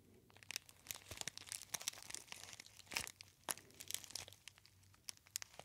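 A gold metallized foil tea bag pouch with a label is crinkled by fingertips near the ear. Dense, quiet, bright crackles and crinkles snap on and off throughout, with sharp high clicks over a faint low hum.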